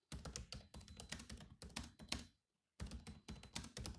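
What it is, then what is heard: Laptop keyboard with plastic keys. Fingertips of both hands type on a grey laptop's black plastic keys, producing quick, clicky taps with a soft low thump under each bright tick. Fast bursts of keystrokes run steadily, pause briefly to near silence just past the midpoint, then resume at the same pace.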